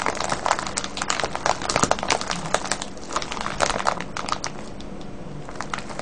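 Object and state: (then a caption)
Plastic bag of wrapped candies. A small, full, clear crinkly plastic bag of colourful wrapped sweets, with a red wrapper on top, lies on a wooden table beside a pale paper tag. Both hands cup it and squeeze and rub it with the fingertips. The result is a dense, continuous run of bright crinkles and sharp crackles that eases slightly in the second half.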